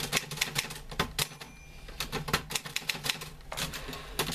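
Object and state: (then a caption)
Manual typewriter typing. Fingertips type on the keys of a green-grey metal portable manual typewriter with a sheet of paper loaded, and a hand throws the carriage return lever. A quick, uneven run of sharp, bright clacks comes through with almost no ring, over a faint steady low hum.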